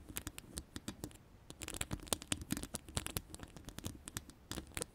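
Long pastel acrylic nails scratch a hollow metal mesh microphone grille with several fingers. Rapid, dry scratching clicks and taps come in an uneven flurry, each one bright and very short with almost no ring, over a soft low rumble.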